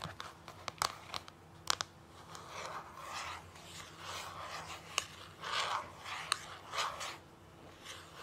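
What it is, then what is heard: Plastic DVD disc in a plastic sleeve. Fingertips and nails scratch and rub a Snow White DVD disc held in a clear plastic sleeve on a DVD binder page. Soft, swelling crinkles and rubbing around 1 kHz run throughout, broken by sharp, bright scratch clicks that stop instantly. A quiet low hum sits underneath.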